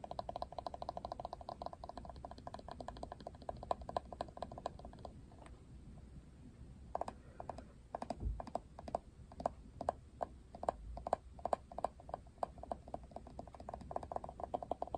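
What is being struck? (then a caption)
Plastic paddle hairbrush. Fingernails tap and scratch the plastic handle and back of a plastic paddle hairbrush with a pink rim as it is turned in the hand. Rapid, dry clicks with a hollow mid-pitched tone patter densely for about five seconds, thin out to a near-quiet scratching pause, then resume as quick irregular taps through the end.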